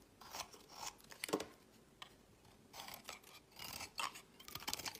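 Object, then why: Bar of soap shaved with a knife blade. A utility knife blade scrapes flakes from the end of a solid green bar of soap held in the fingers. It makes a quiet series of short, dry, crisp shaving strokes with bright high-pitched rasps and almost no low end, separated by brief pauses.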